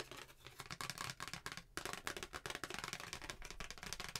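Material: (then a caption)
Paper. A flat white handwritten paper Christmas card, thin and solid, is held up in both hands and tapped and scratched with long painted nails. A dense run of quick, bright, papery taps and scratches keeps up steadily, broken by a brief pause partway through before the scratching resumes.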